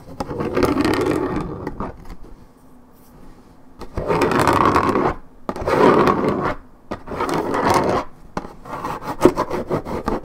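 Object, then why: Coated paperboard juice carton. Long red nails scratch the top of a hollow Minute Maid orange juice carton made of coated paperboard. Five bursts of dry, raspy scraping stand out, with a near-silent pause after the first, and most of the sound sits in a low-mid to mid range with little bright top.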